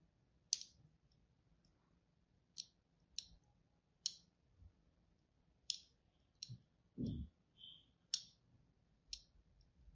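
A thin blade tip is drawn across a solid white embossed bar of soap held in the hand, scoring fine lines into its surface. About nine short, crisp, bright scratching clicks are heard, spaced out over quiet pauses, along with a brief low thump near the end.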